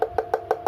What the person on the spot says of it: dipukul-pukul pun suaranya ini lebih keras entah yang membedakan Apa mungkin karena tekstur kayunya